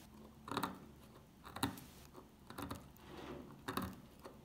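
A metal pick scratches and scrapes the top of an old, solid, dry dark green soap bar. Short, crisp crunching scrapes come in bursts about once a second, with quiet gaps of faint scratching between them.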